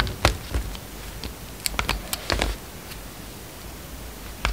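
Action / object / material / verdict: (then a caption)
scrape / bar of soap cut with a utility knife blade / soap / none. A utility knife blade slices and scrapes pieces off a solid blue and white striped bar of soap, already partly carved and held in the hand. About ten short, crisp cuts ring out with a bright edge, with quick scraping bursts between them and a faint low hiss underneath.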